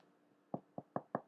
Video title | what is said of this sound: Easy To Bake Dutch Oven Sourdough Bread | you just need to knock on the bottom hear that that's the sound so you know it is all finished and done